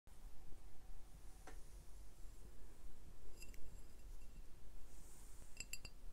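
Glass beer bottles are tapped, giving quiet, bright glassy clinks with short ringing tones over a low background rumble. A few light clicks come first, followed by clusters of clinks.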